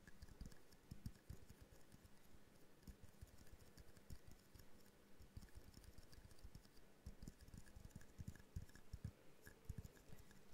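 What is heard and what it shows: A small hollow glass jar snow globe ornament with a snowflake decal and twine is tapped rapidly with long painted nails. The quiet, dense stream of short clicking taps sounds much like typing, with dull low thumps and faint bright ticks that die away almost instantly.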